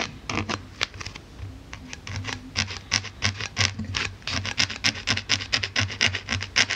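A wooden-handled needle tool repeatedly pokes and scratches across the top surface of a solid white polyethylene foam block. Each stroke gives a short, bright, squeaky scratch, coming in an irregular, quickening rhythm over a faint low hum.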